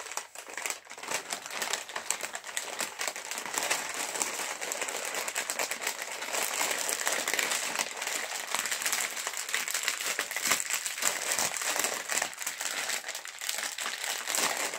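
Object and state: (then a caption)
Foil chips packet crinkling. A sealed, full, green metallized plastic chips bag is tapped with fingertips and squeezed between both hands. It produces dense, continuous crinkling and crackling that is bright and high with almost no low end. The sound starts a little quieter, then holds a steady, busy rustle throughout.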